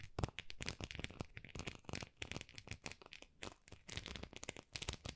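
Long nails scratch and tap the textured, dotted face of a small, solid white plastic rice paddle. The result is a quiet, rapid stream of dry, bright clicks and scratchy crackles with bursts of faster scraping, each sound short with no ring.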